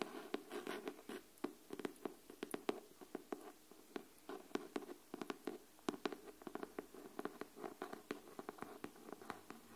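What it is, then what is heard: Cardboard hardcover notebook. Long nails tap and scratch the cover of a pink cardboard hardcover paper notebook held flat. The result is a quiet, rapid series of many short, dry clicks mixed with soft scratching. The taps fade almost instantly and sit mostly in the low-middle range.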